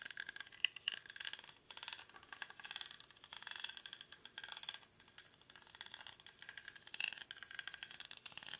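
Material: Rattan.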